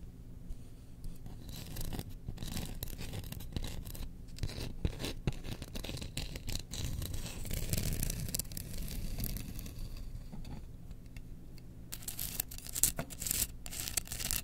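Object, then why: Bamboo spoon. Long nails scratch the bowl and handle of a solid, hand-held bamboo spoon engraved with Chewbacca. The result is a quiet, continuous dry rasping with a low rumbling body and bright, crackly bursts that swell and fade throughout.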